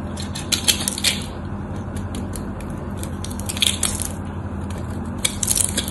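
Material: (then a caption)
Soap. A craft knife blade carves into a solid rectangular white soap bar held in the hand, its pre-scored crosshatch surface chipping off in small cubes. Crisp, bright crunches and crackling snaps come in scattered bursts over a steady low hum, and the small cubes break away.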